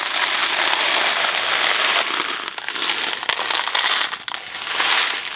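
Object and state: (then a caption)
Cardboard box of dry macaroni being shaken. A hand-sized Kraft macaroni & cheese box, thin hollow cardboard filled with dry pasta, is held in the fingers and shaken so the macaroni rattles inside. The result is a steady, bright, crackling rattle with no low end, briefly dipping in level a few times as the shaking eases.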